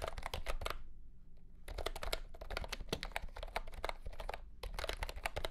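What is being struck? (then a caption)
Plastic mechanical keyboard with round plastic keycaps. A mint-green retro plastic mechanical keyboard ($75 'Candy Green') with round plastic keycaps and a hollow plastic case, lying on a carpet mat under green light, is typed on with the fingertips of both hands. Bursts of quick, clacky keystrokes with a low hollow thump underneath are broken by two short pauses, around one second and near four and a half seconds.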